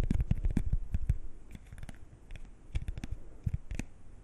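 A single thin, small, flat coated-paper playing card is held at chest height and scratched and flexed with fingernails and fingertips. It makes quick, uneven scratchy crackles and sharp clicks over soft low thumps. The sounds are dense at first, thin out in the middle, then pick up again.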